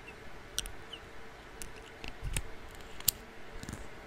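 A small clear glass bottle with a dropper cap, partly filled with liquid, is held in the fingers, tapped with long nails, and has its dropper clicked close to the microphone. Quiet, sharp, bright clicks and taps with almost no ring are scattered over a soft, low background rumble.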